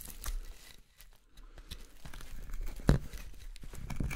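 A small steel knife hollows out the bowl of a roughed-out solid wooden spoon of light carving wood held in the hand, taking scooping scrapes. The result is a run of short, dry, crackling scrapes and shaving rasps, mostly low in tone, with a brief quieter gap near the start and one sharper, louder cut just before the three-second mark.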